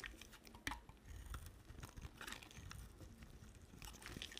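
A solid white bar of soap with a pink-red rim and an embossed face is shaved with a utility knife blade. The result is a quiet, continuous run of crisp scraping and crunching strokes, with a soft low rumble under bright, brittle shaving sounds.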